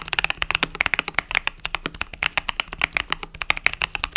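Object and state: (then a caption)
Mechanical keyboard with plastic keycaps. Fingertips type rapidly on a compact mechanical keyboard with pastel purple-yellow plastic keycaps, making a steady run of about 35 short, bright plastic clicks. The clicks are sharp and dry, with almost no ring and very little low end.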